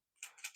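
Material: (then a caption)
Plastic. A small, pistol-shaped plastic tool kit case that comes with a Canik METE SFT is shaken, and it holds loose driver tips, screws and a washer. Three quick, bright rattling clicks are heard, high-pitched with almost no low end and very little ring. The rattle shows the case holds loose items.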